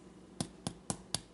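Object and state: Crisp baked puff pastry.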